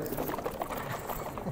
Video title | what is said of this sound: PHY131H1F Fall 2017 Class17 | it's definitely like water okay it's just it's low viscosity just sloshing around in there